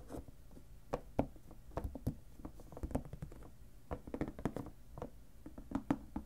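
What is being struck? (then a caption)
Clear plastic lidded storage box. Fingertips tap the sides of a clear plastic lidded storage box filled with paper, then tap and scratch across its lid. The result is a quick, uneven series of dull, short knocks with soft scratchy rustling between them, mostly low and mid in tone and dying away almost instantly.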